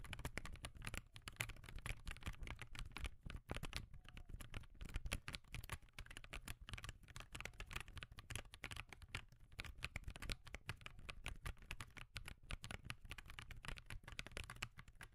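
Fingertips type continuously on a backlit laptop keyboard with plastic keys. The result is a quiet, steady stream of short, dry clicks and taps with a soft low thud under each press and a bright clatter on top. There are no pauses longer than a moment.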